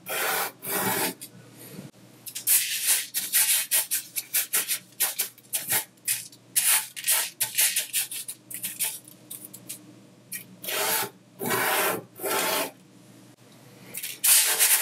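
A palm rubs flat across a thin layer of colored sanding sugar crystals on a white tabletop, and fingertips draw a square and a triangle into the granules. The result is a series of bright, gritty rasping strokes in short bursts, separated by brief quiet gaps, with almost no low end.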